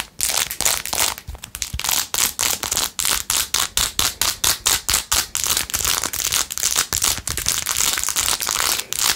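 Long nails scratch quickly across the back and edges of a blue-jeweled, rhinestone-covered plastic phone case. Dozens of rapid, bright, crinkly strokes follow one another in a steady rhythm, each with a short scraping rasp and almost no low end.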